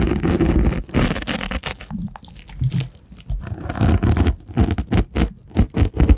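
A small purple rhinestone-covered case, held horizontally in front of a microphone, is scratched and rubbed by rubber miniature hands worn on the fingertips. The result is close, heavy rustling and gritty scraping in uneven bursts, dominated by a deep low rumble with brief crackly flecks, pausing briefly before building into quicker rhythmic rubs.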